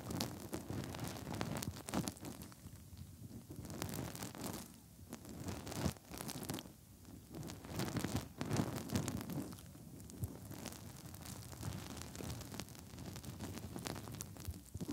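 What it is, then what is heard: Silicone microphone ears being rubbed. Bare fingertips rub and wiggle inside the hollow ear canal openings of the soft silicone ears on a 3Dio binaural microphone. The result is a close, muffled, low-heavy rustling and scratching, with bursts of bright crackle and brief quieter pauses throughout.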